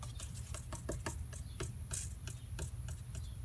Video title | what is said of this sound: Replace vapor canister on 2005 Chevy Suburban: fix the evap system & gas pump shut off | what sounds like some of those black pellets rattling around